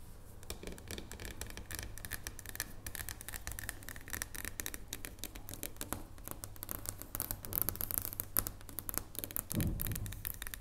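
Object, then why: Dark chocolate bar tapped with fingernails. A solid dark chocolate bar lying on a wooden table is tapped with the fingertips of long painted nails. A rapid, dense stream of light, dry clicks and taps rides over a steady low hum. The taps grow louder and brighter toward the end.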